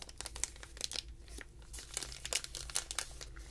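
A small, flat, sealed yellow plastic-foil Honey Stinger lemon waffle packet with a thin waffle inside is handled by fingertips. It gives off bright, dense crinkling with sharp rustling spikes over a low, steady hum.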